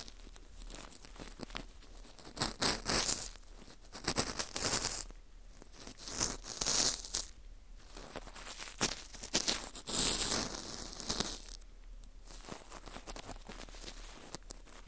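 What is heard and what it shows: A cotton swab rubs inside the hole and across the face of a small, hollow ring of dry, porous baked wheat gluten (fu) held in a gloved hand. The result is bright, dry scratching and crinkly rasping that comes in bursts and fades between strokes.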